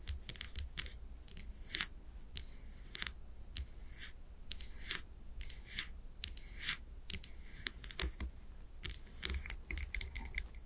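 Long nails tap rapidly on the glass sides of a candle jar filled with wax, its wooden lid on. The result is a quick, uneven run of bright, clicky taps in close bursts, with brief high rasps and a steady low hum underneath.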